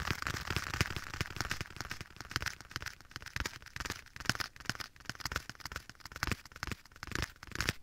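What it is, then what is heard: Leather glove. Bare fingertips tap the surface of a black leather glove worn on one hand and held close to the right side of a microphone, with an echo effect applied. A quick, uneven run of soft, dull taps with a low thump and a bright, crackly edge dies away almost instantly, at a quiet level throughout.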